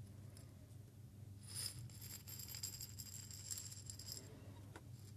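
A small clear glass jar holding a few loose small seeds is held in both hands, tilted and shaken so the seeds rattle. After a quiet start over a steady low hum, a bright, high, glassy rattle of seeds against the glass runs from about 1.4 to 4.3 seconds. It then fades, leaving a faint tap near the end.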